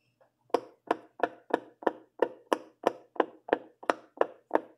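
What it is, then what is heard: Silicone pop-it fidget toy. A fingertip with a purple nail presses the hollow bubbles on the yellow and orange section of a large rainbow silicone pop-it fidget toy. After a faint tap, fourteen short, dry, mid-pitched pops follow at a steady pace of about three per second, each snapping off with almost no ring.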